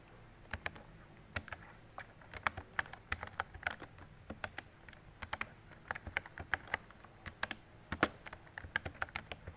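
Fingertips with long decorated nails type on a mint-green retro mechanical keyboard with round plastic keycaps and a hollow body. Quick, uneven runs of sharp, bright clicks with short low-mid clacks ring briefly over a quiet background. The irregular rhythm sounds like steady typing.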